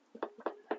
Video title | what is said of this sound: Cooking with Violet Vixen episode 338 carrot and herb damper | tap it and it should sound hollow